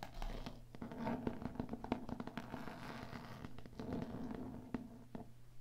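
Long nails scratch and tap the cloth spine and cover of a small old hardcover copy of "Moore's Poetical Works," bound in cloth over board and held in the hands. Soft, dry scratching is broken by quick, dull taps that stop at once without ringing, over a steady low hum. The book is solid.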